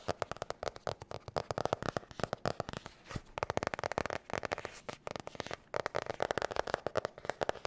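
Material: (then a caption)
Cardboard. Long nails tap and scratch the cover of a blue marbled hard-cover spiral notebook. A fast, dense run of short, sharp clicks sits in the mids around 580 Hz, mixed with brief papery scrapes. There are a few short pauses and the taps stop almost instantly with no ring.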